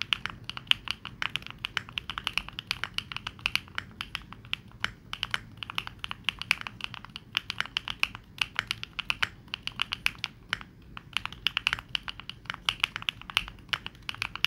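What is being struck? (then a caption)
Mechanical keyboard with plastic keycaps. Fingertips type rapidly on a Neo65 65% mechanical keyboard with plastic keycaps, producing a dense, steady stream of short, bright clacks. Each key tap dies away almost instantly, with little low-end weight beneath the crisp high clicks.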